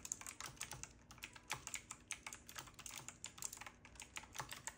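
Fingertips of both hands type rapidly on a retro typewriter-style mechanical keyboard with round black plastic keycaps and a side knob. The result is a fast, uneven stream of sharp, bright clicks and clacks. Each keystroke cuts off almost instantly, with little low end.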